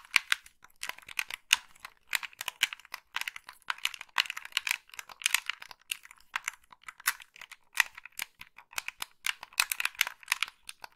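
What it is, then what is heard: Plastic game controller. Long pink nails tap and click the buttons of a hollow black plastic gamepad and scratch across its plastic casing. The sound is a rapid, uneven stream of sharp, bright clicks and taps mixed with scratchy rustling, dry and clipped with no low end.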